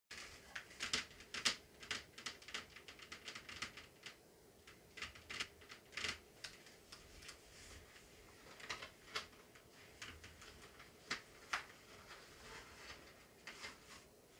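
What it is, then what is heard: Empty plastic candy bucket. Long painted nails and fingertips tap an empty, hollow, medium-size orange plastic jack-o'-lantern candy bucket held on a tablecloth. Many quick, bright, clicky taps come in uneven bursts and scattered single strikes. Each tap dies away almost instantly, with little low end, against a quiet background.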